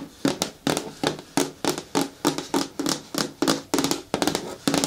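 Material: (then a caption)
Plastic. Long natural nails tap in quick, uneven bursts on a hard plastic bin or bucket with a lid. Each tap gives a sharp click with a short, hollow ring around 277 Hz that dies away quickly.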